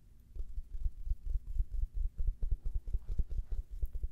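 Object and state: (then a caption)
Fabric-covered foam neck pillow. Long red nails scratch and tap a grey U-shaped travel neck pillow with a soft fabric cover and foam filling, held in both hands. The result is a quick, irregular run of soft, muffled low thumps with a faint scratchy rustle and almost no ring.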